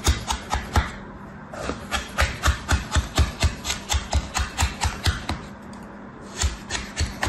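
A red plastic knife scrapes and cuts through a packed, stamped slab of kinetic sand filling a mint plastic tray while the other hand steadies the tray. About twenty short, soft crunching strokes land in an uneven rhythm, each a dull low thump with a gritty, bright rasp. A brief pause with gentle scraping comes before the cutting resumes.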